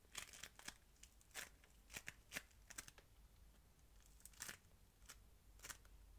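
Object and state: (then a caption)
Polystyrene-bead modelling foam being squeezed. A hand-sized solid lump of yellow-green crunchy polystyrene-bead modelling foam is squished, kneaded and rubbed by the fingers and palms of both hands. Quiet, bright crackling and crunching bursts come in irregular clusters, each dying away almost instantly, over a faint low background hiss.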